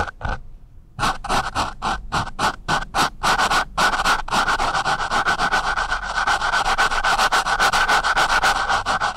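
The sharpened tip of a wooden pencil scratches and rubs across a soft, porous, dark foam microphone windscreen in quick, rhythmic strokes, roughly three to four per second. Each stroke is a brief, bright, papery scrape with a steady midrange rasp near 1.4 kHz. After a short, sparse start, the strokes grow denser and louder into a continuous, close-up scratching texture.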